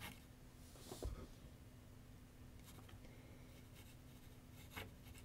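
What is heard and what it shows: A pencil scratches outline strokes across a large white paper sheet mounted on a board on a wooden easel with solid backing. A soft, steady rasping runs over a low hum, with two louder scratches standing out near the start and the end.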